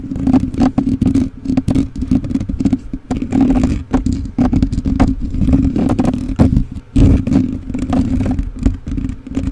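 Fingertips and short nails of both hands scratch and rub the bare black metal mesh grille of a rhinestone-covered USB microphone with a hollow capsule head. The result is a dense, continuous run of scratchy, clattering strokes over a boomy low rumble and a steady low hum, with brief crisp scrapes flaring up throughout.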